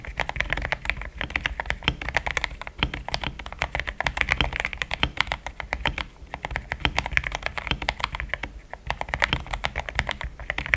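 Fingertips type in steady taps on a pink-framed compact mechanical keyboard with thick cream XDA plastic keycaps, linear switches, a polycarbonate plate and a hollow case. Dense, short clacks pile up continuously with no pauses, each dying away almost instantly. The sound is bright, centred around 2 kHz, with a soft low thump beneath.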